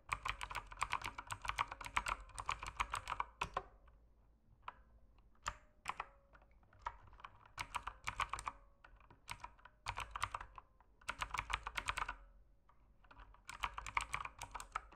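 Fingertips type on a mechanical keyboard with plastic keycaps and a dim backlight. Rapid bursts of crisp, clacky keystrokes alternate with short quiet pauses, each press short and bright over a faint steady low hum.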